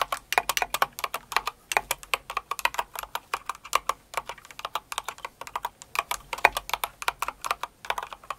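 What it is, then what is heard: Plastic mechanical keyboard. A full-size light blue and pink Cinnamoroll mechanical keyboard with plastic keycaps and case, resting on purple fur, is typed on with long acrylic nails and the fingertips of both hands. About fifty quick, crisp keystrokes follow one another in a steady, irregular rhythm, each a short bright clack with no low-end thump and almost no ring.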